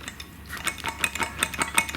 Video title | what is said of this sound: Snode AD50 vs Core Home Fitness Adjustable Dumbbells - Better deal than Nuo bell ?? | they are loose. So you will hear that a little bit as well.